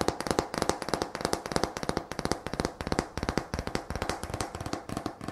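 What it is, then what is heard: Thin painted wooden slats tapped with fingernails. Long fingernails tap rapidly and irregularly across a solid decorative Apple Cider / Thanksgiving sign made of thin painted wooden slats, held in one hand. About 37 short, dry clicks with a hollow woody tone around 400 Hz die away almost instantly.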